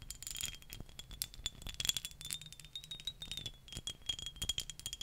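Long nails tap and scratch the faces of a small, handheld dark green glass perfume bottle with a cap. The result is a quick, continuous run of bright, dry clicks and scrapes with almost no ring, carrying a thin, steady glassy tone around 3.4 kHz.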